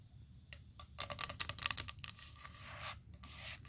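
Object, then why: Wooden tabletop. Long acrylic nails on both hands tap and scratch across a large, round, solid wooden table slab with visible grain. Sharp, bright clicks come in a quick, uneven run, then give way to longer, dry, hissy scratching strokes. Each tap dies away almost instantly over a faint, low background rumble.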